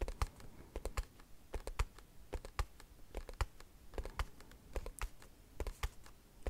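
Long nails tap rapidly and irregularly on a small white cardboard product box held in the hand. Each tap is a short, dry click with a soft low thud and a bright tick, dying away instantly with no ring.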